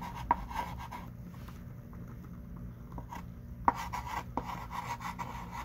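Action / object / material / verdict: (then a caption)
scrape / chalk stick on a small wooden-framed chalkboard / chalk / none. A hand writes with a thick pink chalk stick on a small wooden-framed chalkboard lying flat, making dry scratching strokes and sharp taps. Two crisp clicks stand out, one near the start and one past the middle, with a quieter stretch of soft rubbing between them. A steady low rumble sits underneath throughout.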